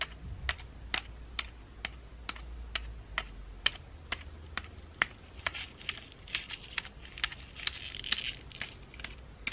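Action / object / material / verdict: tap / pine cone and dried flower ornament ball / pine cone / none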